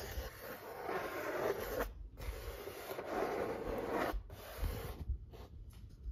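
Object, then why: Corrugated cardboard pizza box lid. Fingertips rub and scratch across the printed surface of a large, flat corrugated cardboard pizza box lid. Long, dry, papery strokes centered in the midrange are broken by brief silences, followed by shorter, choppier scratches toward the end.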